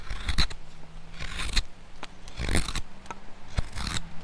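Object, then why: Wooden spoon blank carved with a steel hook knife. A steel hook knife, pushed by the thumb, scoops curls from the bowl of a solid, light wooden spoon blank. Short, crisp scraping cuts come at an irregular pace, each a bright rasp over a dull low thump, with a faint low hum between strokes.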